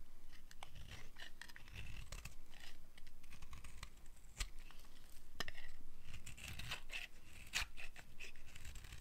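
A small metal blade cuts and scrapes slices off a solid, red striped bar of dry soap held in the palm. Irregular, crisp scraping and crunchy shaving strokes, some sharp snaps, sit over a low, muffled handling rumble. The sound stays dry and short, with no ring after each stroke.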